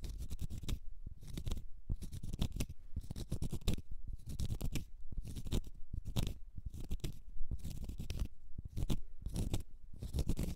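Long red nails scratch the porous surface of a large, solid natural cork stopper held in the fingers. The sound is a dry, crackly scratching that comes in repeated bursts of quick strokes with short pauses between them. It is mostly soft and low-weighted, with faint bright grit on top.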